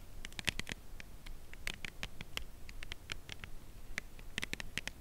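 Long acrylic nails tap along the edge of a slim, full cardboard Lindt chocolate bar box held edge-on, producing quick, dry, bright clicks with no ring. The taps come in an uneven patter, sometimes clustered in quick bursts, over a faint low background rumble.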